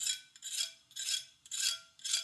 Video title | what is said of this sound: Crispy Fried Wild Rabbit Tenders (plus 3 Easy Dipping Sauces) | you can't tell how crispy something is unless you hear the blade of a knife scrape across it